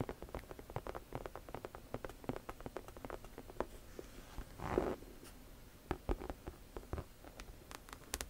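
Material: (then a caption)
Leather. Long nails scratch and tap the front of a hollow pink saffiano leather crossbody camera bag, textured leather or faux leather, producing a quick run of around thirty dry, dull taps with very short decay. Just before the midpoint there is a brief, louder rasping scratch, then the soft, muted tapping continues with little brightness.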